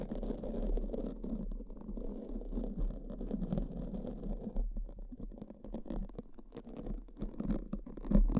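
Pink silicone spoolies, one in each hand, brush and scratch across black foam microphone windscreens. The result is a dense, muffled, low scratching rustle with rapid overlapping strokes. It turns choppier midway and swells to a louder scrape near the end.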